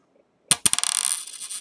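A 1941 copper cent is dropped to check for the ring a copper coin should have. It strikes three times in quick succession, and a bright, high-pitched metallic ring follows. The coin gives the clear ring expected of copper.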